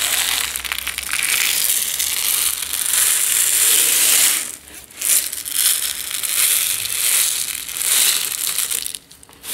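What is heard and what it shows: A medium plastic jar with a yellow lid, partly full of dry instant tea granules, is tilted side to side and shaken by hand. The granules give a continuous, bright, hissing rattle that swells and fades with each tilt, dropping away briefly twice before picking up again.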